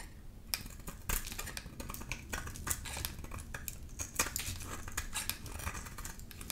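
A palm-sized, solid oval bar of dry green soap with a glittery blue coating is held in the hand and scraped with a black metal grater-like blade tool, sending green shavings falling off. The clip is a steady run of quick, crisp, bright scratching strokes with sharp clicks over a soft low rumble.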